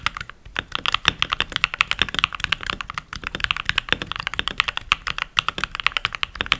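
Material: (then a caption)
Plastic. Fingertips with short nails and rings on the fingers type continuously on a full-size backlit mechanical keyboard with pink plastic keycaps. Around 47 crisp, bright clacks come in quick, uneven succession, centered near 3.6 kHz with almost no low end. Each stroke cuts off almost instantly.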